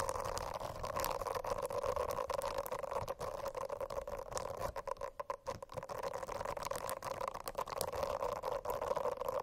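Long acrylic nails scratch across the dense small bristles of a rainbow-striped silicone notebook cover. The result is a continuous, soft, rustling scratch with a steady midrange hum and a brief quieter stretch midway.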